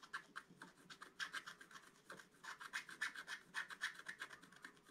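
A wooden stylus scratches leaf shapes into a flat black-coated scratch-art card with repeated strokes. It makes a quiet, dry, rasping scratch in a rapid, uneven series of short strokes, each bright and hissy with a scratchy core in the upper midrange. There is almost no low end and each stroke stops dead with no ring.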